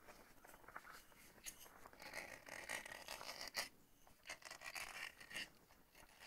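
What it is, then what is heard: Glass coffee jar with plastic lid. Fingertips and nails scratch and rub the black ribbed plastic screw lid of a medium glass jar of instant coffee, about half full, held upright. The result is quiet, bright, dry scratching and rasping in irregular bursts, with short, sharp ticks from the ribbed plastic and almost no low end.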